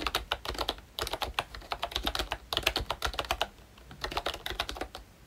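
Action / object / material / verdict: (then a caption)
tap / plastic membrane keyboard with round keycaps / plastic / none. Fingertips type on a full-size Mickey Mouse retro membrane keyboard with a hollow pink plastic case and round black plastic keycaps. Short, bright plastic clacks come in quick bursts with brief pauses between them. Each keystroke dies away almost instantly over a faint low rumble.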